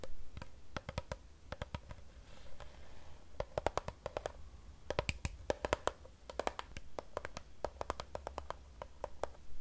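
Long nails on both hands tap a hollow Fiji plastic water bottle filled with water. The taps come as quick, irregular clusters of short, dry clicks with a faint tone around 600 Hz. Each click dies away almost instantly over a steady low background hum.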